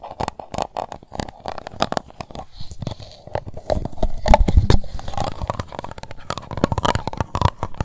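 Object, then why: Plastic cup. Long nails scratch the bottom and side of an empty, transparent pink plastic cup. The scratching makes a dense, irregular run of dry crackling and scraping strokes, with most of the sound in a low, hollow rumble. It grows a little louder toward the middle and keeps going unevenly to the end.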